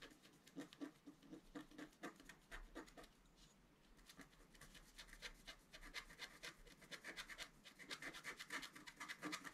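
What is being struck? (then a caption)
Black-coated scratch paper card scraped with a wooden stylus. A thin wooden stylus held in the right hand scratches the coating of a flat black scratch-art sheet with a deer motif, lying flat on a table and steadied by the left hand. Quick, dry, bright scratching strokes repeat in an uneven rhythm, easing briefly around the middle before growing denser and louder toward the end.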